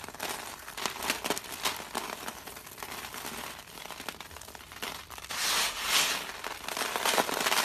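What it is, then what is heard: Dry soap flakes being crumbled. Fingertips dig into a large heap of dry crushed soap flakes resting on paper, scooping and rubbing them so they crumble further. The result is a dense, bright, dry crackling and crinkling with irregular crunchy bursts, swelling into a louder, fuller rustle around the sixth second.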